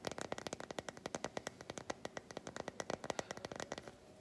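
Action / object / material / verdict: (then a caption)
scrape / solid milk chocolate bar scratched with fingernails / chocolate / none. Long white nails scratch and tap across the flat back of an unwrapped solid milk chocolate bar, making a rapid run of about 31 crisp, dry clicks. Each click is short and bright with a mid-range tone, and there is almost no low end. The clicks stop just before the end, leaving a faint, quiet tail.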